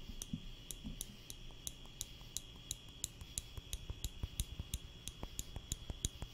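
A small wooden spring clothespin with a metal spring is held in the fingertips close to the microphone and squeezed open and shut, giving about 20 short, dry clicks at a quick, uneven pace. Each click is a brief bright tick that dies away almost instantly, over a steady faint high tone and a low rumbling background.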